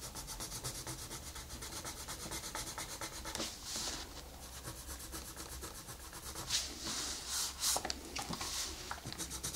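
A colored pencil rubs across a flat paper coloring book page in repeated shading strokes, making a bright, scratchy rubbing hiss. The strokes come louder in bursts near the middle and toward the end, over a faint low hum.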